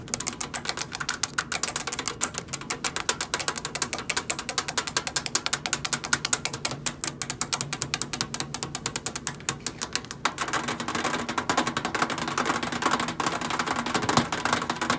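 Long acrylic nails do fast, rolling taps on the front panel edge of a hollow stainless steel microwave, making a rapid stream of sharp, bright clicks with almost no ring. About ten seconds in, they move to tapping the side metal panel, and the sound becomes a denser, brighter, more continuous clatter.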